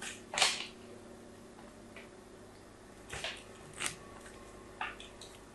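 A solid pink "Absolut" bar soap, held in the hand, is scratched in lines with a metal tool. Short, dry, bright scraping strokes come in separate bursts, with quiet pauses between them.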